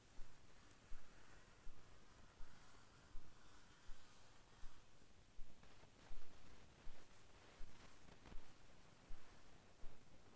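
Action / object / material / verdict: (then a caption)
scrape / cardboard pencil box / cardboard / none. Paintbrush bristles stroke and scratch across the printed surface of a small Ticonderoga cardboard pencil box resting on blue fur, with the other hand holding the box. About fourteen soft, evenly paced brushing swishes rise and fade over a quiet, low hiss.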